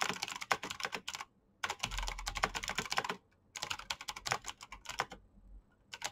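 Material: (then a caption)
Plastic. Fingertips with short painted nails type fast on the keycaps of a full-size black plastic Razer BlackWidow mechanical keyboard with green clicky switches and RGB backlight. Bright, sharp clicks come in three rapid bursts separated by brief silent pauses, with a faint low hum under the middle of the clip.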